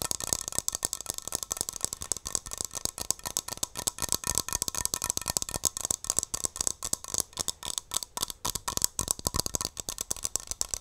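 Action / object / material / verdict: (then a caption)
tap / metal aerosol shaving cream can / metal / none. A metal Barbasol aerosol shaving cream can is tapped and scratched with long nails close to the mic. The result is a rapid, continuous run of bright, dry clicks and scratchy rattles with almost no low end. Each tap cuts off instantly.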